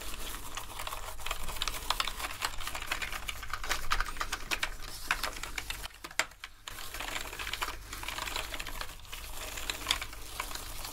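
Toothbrushes scrub and press the keys of a black plastic gaming keyboard covered in foam, making a dense, steady stream of bright, quick clicks and bristly scrubbing over a low, constant hum. The clicking dips into a short, quieter pause about midway before the scrubbing and tapping pick up again.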